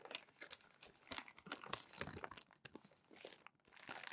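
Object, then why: Glossy magazine paper. Crumpled glossy magazine pages are rubbed flat under the palms and turned with the fingers. Quiet, bright crinkling and crackling comes in short, irregular bursts with brief dry rustles between them, and there is little low end.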